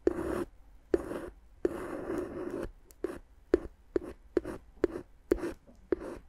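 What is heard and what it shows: A wooden stick, held in a hand with long dark nails, taps and scratches the hollow, air-filled tubes of clear inflated plastic air-column cushion wrap wrapped around the microphone. Longer scraping strokes give way to a series of sharp, separate taps. Each tap has a hollow, plasticky tone near 360 Hz with a bright edge and almost no ring.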